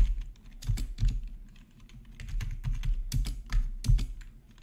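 Fingertips of both hands type on a full-size black plastic membrane gaming keyboard with an RGB backlight and a hollow housing, resting on a marble surface. The keys give soft, deep, thuddy taps in an uneven, steady typing rhythm, with faint bright clicks over the low body and quick decays.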